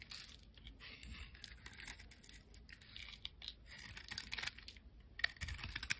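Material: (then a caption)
Soap. A solid, rectangular amber translucent glycerin soap bar is held in the hand and scored and scraped with a black utility blade. Quiet, dry, bright scratching and crisp scraping strokes come in quick bursts, with a few sharper clicks near the end.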